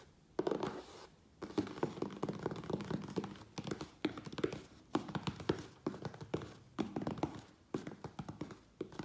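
Fingertips tap quickly on the sides of a closed, hollow medium USPS Priority Mail corrugated cardboard box resting on a wooden table. Bursts of rapid, dull, hollow thunks and taps are separated by brief pauses, with a low-mid body, little high-end content and almost no ring after each hit.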